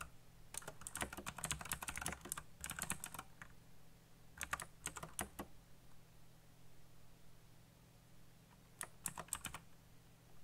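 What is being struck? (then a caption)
Mechanical computer keyboard with plastic keycaps. Fingertips type quickly on a black backlit mechanical computer keyboard with plastic keycaps, giving bright, clicky key presses. The typing comes in three bursts: a long flurry at the start, a shorter run in the middle and a brief burst near the end. A steady low hum runs underneath throughout.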